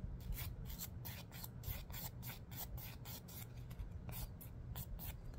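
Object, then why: Emery board nail file with fingernail. Fingernails are filed with quick back-and-forth strokes against a long, dark emery board nail file held in one hand. Each stroke makes a bright, raspy scratch over a steady low hum.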